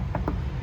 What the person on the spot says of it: it actually sounds like metal